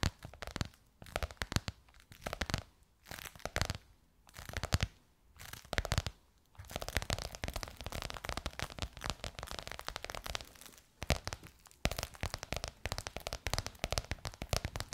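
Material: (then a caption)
Faux leather. Long nails tap and scratch a bronze-gold crocodile-embossed faux leather cover stretched over a curved hollow form. Quick, dry clicks and crackly scraping come in short bursts during the first six seconds, then run into a dense, continuous scratching with a low, hollow undertone.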